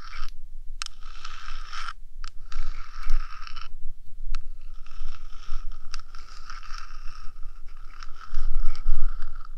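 Long dark nails of both hands scratch and tap the flat top of a 3Dio binaural microphone's boxy, hollow metal body, which houses electronics, while its rubber ears are left untouched. Continuous gritty scraping with a bright, hissy edge is broken by sharp, quick taps, over a steady low rumble.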